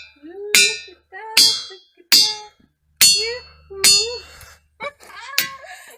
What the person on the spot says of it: so many of them make tones